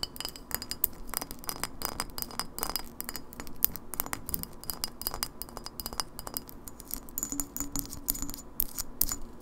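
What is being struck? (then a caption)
Glass bottle. An empty clear glass lemonade bottle with a paper label, held sideways, is tapped rapidly with long nails on both the glass and the label. The result is a dense stream of short, bright clinks and duller papery taps with a faint ringing high tone, over a low background hum.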